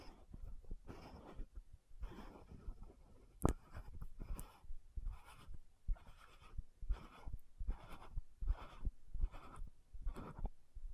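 Long nails tap, scratch and twist the gold metallic cap of an orange-red frosted plastic lotion bottle. Quiet, rhythmic bursts of soft scratching and rubbing repeat through the clip, with one sharper tap standing out near the middle.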